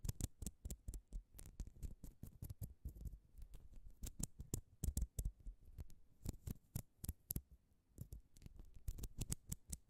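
A small, thin, hollow orange plastic spiral coil cat toy is held between both hands above the microphone while long glitter acrylic nails stretch, twist and scratch along its ridges. It makes a quiet, steady stream of sharp, dry clicks and scrapes, each with a soft low thump and a brief bright crackle that dies away almost instantly.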